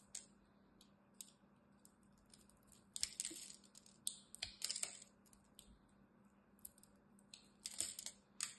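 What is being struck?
Bar of soap cut with a knife.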